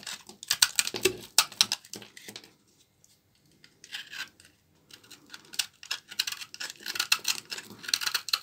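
A small blade scrapes and cuts thin shavings from a solid bar of dry, old brown laundry soap held in the hand. Quick, crisp, bright scraping ticks come in dense bursts, with a near-silent pause in the middle before the cutting resumes.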